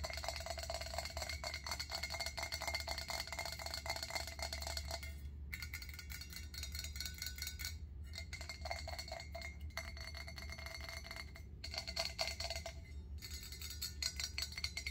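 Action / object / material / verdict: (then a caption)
tap / stainless steel pot lid / stainless steel / none. Long acrylic nails tap rapidly across the metal surface of a round stainless steel pot lid with a center knob, held in both hands. The dense, quick clicks ring with a bright metallic tone around 650 Hz and die away almost at once, pausing briefly a few times. A steady low hum sits underneath throughout.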